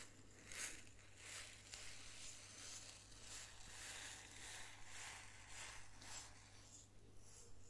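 A small clear glass jar filled with sesame seeds is held in both hands, slightly tilted, and tapped and scratched with fingernails. Bright, crinkly scratching bursts come and go over a steady low hum, with the seeds giving a soft rustle as the jar shifts.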